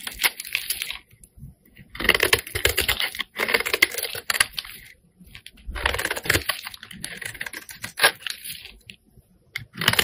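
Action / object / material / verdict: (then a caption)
scrape / bar of soap scraped with a metal blade / soap / none. A metal blade scrapes and shaves the surface and edge of a solid pink bar of soap held in the hand. Bursts of dry, crisp, bright scraping and crackling alternate with short quiet pauses, each stroke ending with almost no ring.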